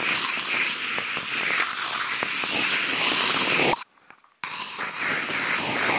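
Toothpick tips fitted on contact mics are scratched and poked into a large flat corrugated cardboard sheet. The result is a dense, bright, papery scratching with small clicks over a steady high hiss. It cuts to near silence for about half a second before the scratching resumes.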